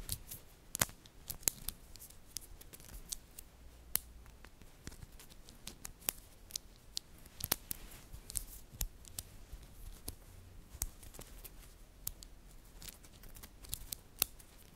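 A chain and cluster of small, solid, green-coated magnetic metal balls from a glow-in-the-dark magnetic cube are handled with fingertips and long dark nails. The balls snap together in about thirty sharp, bright clicks that stop almost instantly. The clicks are scattered over a quiet, soft background.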